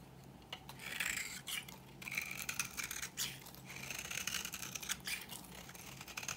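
A blade scrapes a dry, old pink bar of solid soap held in the palm, shaving it into crumbly flakes and powder. The repeated strokes give a quiet, bright, dry scratching rasp, with a faint low hum underneath.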